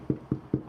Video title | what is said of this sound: Simple Sourdough: Baking in a Dutch Oven | that sounds Hollow and that's what you want